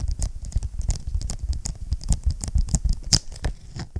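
A closed blue vinyl ring binder is held in both hands while fingertips tap and scratch across its front cover. The result is a rapid, dry patter of short taps with a soft low thud and faint bright scratchy edges.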